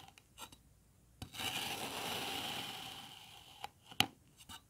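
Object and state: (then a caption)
Kinetic sand block scraped with a knife. An iridescent metal knife blade cuts and scrapes across the top of a solid green kinetic sand block. After a soft tap, a long, bright, grainy scrape with a faint steady tone swells and slowly fades. It is followed by a few sharp, dry clicks and light ticks, the loudest near the end.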